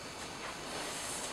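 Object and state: Nothing is struck.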